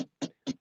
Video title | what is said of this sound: LIVE: Tesla makes some of the best EVs. Here's why I bought a Kia EV instead! | this clicks this is cheap plastic